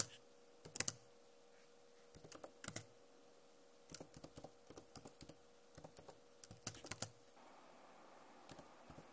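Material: Plastic.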